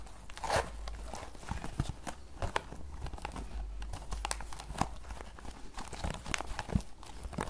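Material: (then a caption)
Paperboard. Long nails tap fast on a small, closed green paperboard tea box held sideways, making a galloping rhythm. The taps are short, dull and hollow, with bright clicky edges over a steady low hum.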